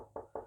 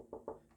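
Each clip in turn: First: solid centre block of a semi-hollow guitar. Second: hollow wing of a semi-hollow guitar body.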